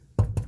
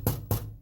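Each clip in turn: First: Two dull, low knocks near 100 Hz on a door panel, dying fast with no rattle: the part now sits tight. Second: Three low, dull thumps on a metal door panel with a faint buzzy after-rattle, pointing to a loose part inside.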